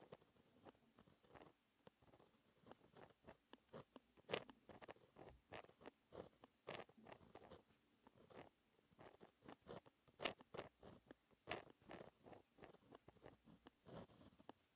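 A pen tip held in fingers scratches across a thin, flat, solid-backed sheet of black paper while writing small formula characters. Quick, dry scratching strokes come in uneven bursts, each with a bright edge and almost no ring.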